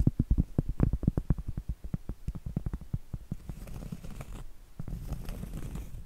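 Long acrylic nails tap and scratch the surface and edge of a large, thin, flat, solid round cork trivet. A rapid run of dull, low, muffled taps in the first half gives way to a soft, continuous scratching rustle with a faint high hiss.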